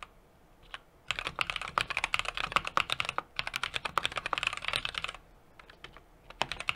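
Fingertips type continuously on a small 60% mechanical keyboard with an aluminum case, brass plate and plastic keycaps. After a single early click, a dense run of sharp, bright keystrokes clatters from about one second to five seconds, then pauses. A few scattered taps follow near the end.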